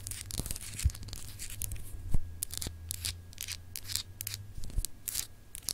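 Long acrylic nails scratch across a small, solid, clear glass globe paperweight with a textured, etched surface. Bright, dry scraping bursts come and go over a steady low hum, with a few dull knocks standing out.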